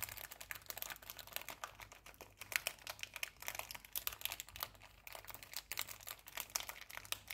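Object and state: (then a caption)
Foil cookie wrapper being crinkled. A small metallic foil cookie wrapper with a cookie inside is crinkled and rubbed between fingers and nails. The result is dense, bright crackling and scratching with many quick clicks throughout, plus a faint low hum underneath.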